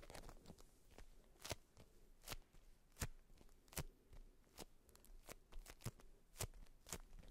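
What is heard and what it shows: A polka-dot beeswax-coated fabric wrap, tightly rolled around a cylindrical bundle resting on fur, is tapped and scratched with long white nails. Quiet, dry crinkling and scratching runs throughout, broken by sharp, crisp taps that snap bright and die away almost instantly over a soft low thud.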